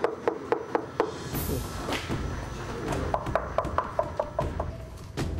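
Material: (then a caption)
Clay. Dried, unfired glazed onggi earthenware pots are knocked to check their dryness, giving a rapid series of short, clear, wood-block-like raps pitched around 640 Hz, with a brief hiss and a few muffled thumps partway through. Each knock rings clearly, showing the pots are well dried and ready to be loaded onto a cart for the kiln.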